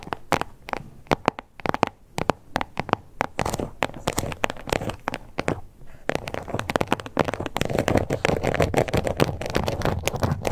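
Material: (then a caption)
Faux leather. Long acrylic nails scratch and tap on a small, flat, glossy pink crocodile-embossed faux leather card holder with stitched edges. The result is a rapid, dry stream of short clicks and scratchy rasps with no ringing. The taps are sparser at first and become a denser, continuous scratching texture in the second half.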